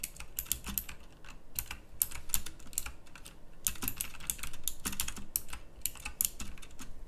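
Fast fingertip typing on a pink backlit, plastic mechanical typewriter-style keyboard with round plastic keycaps. It produces rapid, crisp, bright clicks in quick bursts over a low background rumble, each keystroke ending almost instantly.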